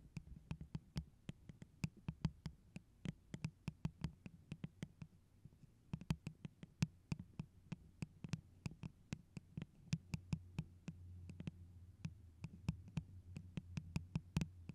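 Long orange stiletto nails and fingertips tap the sides of a tall, clear, iridescent plastic tumbler cup printed with pineapples, hollow and apparently empty, placed over a microphone. The result is a steady, irregular stream of dozens of muffled, thumping taps, each with a faint bright click and a very short ring. Underneath runs a low, boomy hum around 156 Hz that swells louder in the last few seconds.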